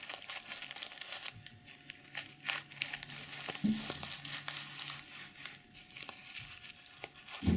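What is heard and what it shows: A small zippered pouch covered in pink and silver reversible plastic sequins is scratched by long nails that flip the sequins over. The result is a steady run of dry, crinkly clicks and bright rustling. A few louder, lower thumps stand out.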